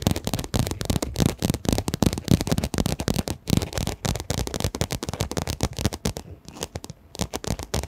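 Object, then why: Quilted fabric pencil case. A pink quilted, padded fabric pencil case is held in front of a microphone and tapped and scratched with long nails. The result is a rapid, dense stream of soft, muffled thumps with scratchy, crackling texture, heavy in the low end with quick-decaying hits and a slightly sparser patch near the end.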